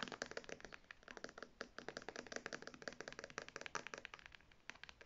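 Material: Faux leather.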